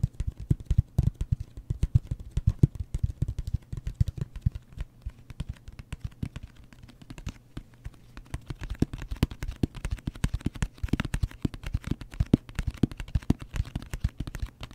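A closed, hollow brown cardboard mailer box with a wood-grain print and a round logo is held in the hands and tapped quickly with fingertips and nails. The result is a dense, continuous patter of short, dull, low-pitched thumps with almost no ring, easing slightly in the middle before picking up again.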